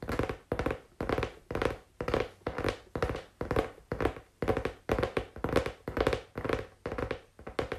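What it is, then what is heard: Cardboard tapped with fingers. Fingers tap on cardboard in quick, uneven bursts, giving dull, hollow thunks with a mid-pitched knock around 500 Hz. Each tap dies away almost at once, and the bursts repeat roughly twice a second.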